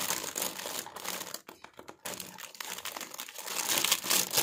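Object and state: Plastic packaging bag being handled.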